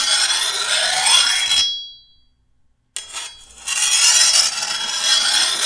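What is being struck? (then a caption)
Steel machete blade and hand file. A hand-held steel file is drawn along the edge of a long, thin, solid steel machete blade, making a bright, high rasping scrape. The first stroke trails off into a faint metallic ring near 3.4 kHz before about a second of silence. A second rasping stroke then starts and builds to a sustained scrape to the end.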